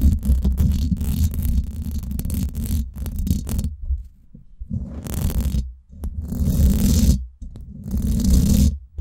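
Long nails scratch and rub the hollow, domed steel mesh head of a Blue Yeti microphone from the top, close against the grille. The result is a dense, low rumbling scrape with faint bright grit. It comes in long fast and slow bursts separated by brief near-silent pauses.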